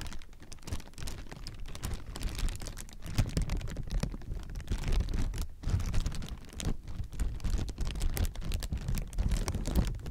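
Hands crumple and squeeze hollow, clear plastic air-pillow packaging, making a continuous stream of dense, crackling crinkles. The sound is heavy and low, with rapid short pops that swell and fade in loudness throughout.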